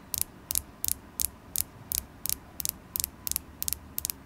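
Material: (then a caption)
Carnelian stone. Long glittery acrylic nails tap a solid polished carnelian stone tower point with a faceted tip, making 12 crisp clicks at a steady pace. Each tap is a quick cluster of two or three bright, dry ticks with almost no ring, over a faint low hum.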